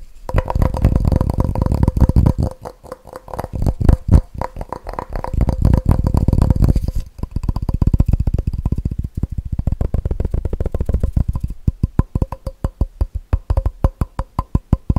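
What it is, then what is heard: Empty plastic measuring jug. Fingertips tap quickly on the side of a clear, empty, hollow plastic measuring jug held in one hand. The taps are short, dull and low, with faint ringing around 500 Hz and 1 kHz. They come in fast, uneven bursts that blur into dense rolling patches, then thin out into sparser separate knocks toward the end.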